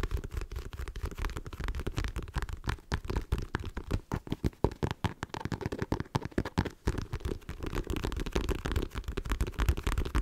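Long nails tap fast on the face of a black printed leather wallet held in both hands. The result is a dense, steady stream of short, dull taps with soft low thuds and very little bright edge, continuing for about ten seconds.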